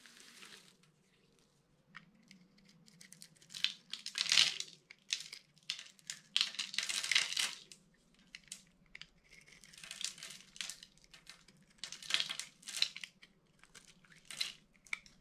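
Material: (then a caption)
Soap. A metal utility-knife blade scores a grid into a solid, dry, palm-sized purple bar of soap held in one hand, then scrapes off small soap cubes that fall onto a red surface. Bright, crisp scraping and crunching comes in dense bursts over a faint low hum, with quiet gaps between the louder passes.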